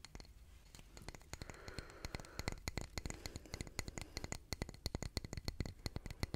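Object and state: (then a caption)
Concrete calendar block. A solid grey concrete calendar block with engraved month names is held up and tapped with fingernails. A rapid, uneven run of short, dry clicking taps with almost no ring, quiet at first and growing sharper and louder toward the end.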